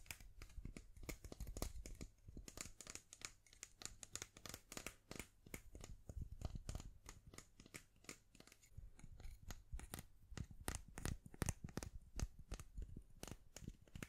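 A long, thin, solid unpainted wooden pencil with a black end is held in both hands and tapped and scratched along its length with long nails. The result is a quiet, rapid stream of dry clicks, taps and scratchy rasps with bright edges and a soft low thump under them, each hit dying away instantly with no ring.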